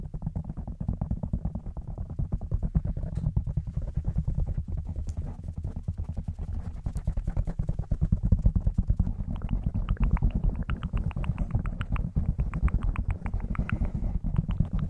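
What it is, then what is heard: Foam microphone windscreen being scratched and tapped. Fingertips of both hands scratch, tap and rub a black foam windscreen on a microphone, producing a dense, continuous stream of rapid, deep thumping crackles. The sound stays heavy and low throughout, with brighter scratchy clicks emerging in the second half.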